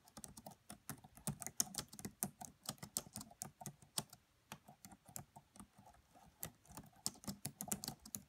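Fingertips with medium-length nails type on the black plastic keys of a red laptop keyboard. A steady run of quick, quiet, dry clicks with a bright edge and a soft low thump under each press, with brief pauses between bursts.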